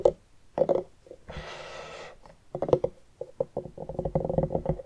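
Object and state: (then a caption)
Hollowed-out pumpkin, hollow. A medium orange pumpkin, hollowed out with its top opening cut and resting on a wooden table, is tapped quickly with both hands and scratched along its ribbed rind with long nails and fingertips. Bursts of hollow, resonant knocks ring at a mid pitch around 520 Hz, broken by a steady, bright scraping rush in the middle, before closing in a dense flurry of rapid taps.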